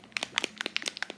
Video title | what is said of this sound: Everything I’m Obsessed With This Summer ☀️ - Makeup, Hair, Style + More! | there's like a little ball in there that keeps it like mixed up